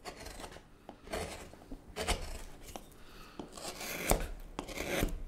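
A hook knife with a wooden handle carves shavings from the inside of the hollowed bowl of a light-coloured, solid wooden spoon blank held in gloved hands. Irregular, dry, rasping scrapes come in short strokes, with occasional sharp clicks as the blade catches and releases the wood.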